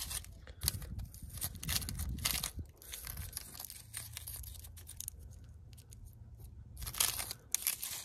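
Long pointed nails scratch and tap across a large, rough natural stone outcrop embedded with pebbles and patches of moss. The result is bursts of dry, gritty, high-pitched scraping and crackling over a low rumble, with louder scratching near the start and again toward the end.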